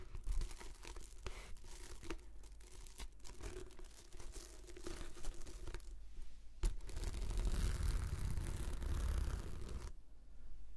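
Long nails scratch a translucent, textured plastic anti-slip mat that is rolled into a hollow tube and held horizontally. The result is a steady run of quick, dry scratching and crinkling strokes over a low, hollow rumble. From about 6.7 to 10 seconds the scraping grows denser and louder, then it eases off at the end.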